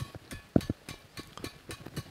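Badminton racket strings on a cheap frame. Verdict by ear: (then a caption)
Dull. The strings of a cheap knock-off badminton racket, strung at a higher tension than a Carbonex racket, are struck about ten times. Each hit gives a short, dull, low thud that dies away almost at once instead of ringing. The dullness is put down to the string type, the racket frame and the brand.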